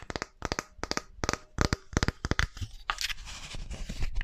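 Long painted nails scratch and rub the fingers and palm of a small, solid wooden artist's hand model held up close to the mic. The first half brings short clusters of quick, dry tapping scratches separated by brief pauses. Then it turns into a steadier, continuous rubbing and scratching with a bright, hissy edge and no ring after each stroke.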